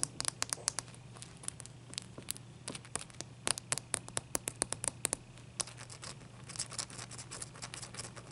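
Long dark-painted nails tap and scratch a large, clear, solid ice cube resting on a white towel. Dozens of quick, sharp, bright clicks stand out over a soft scratchy rasp, with a faint steady low hum underneath.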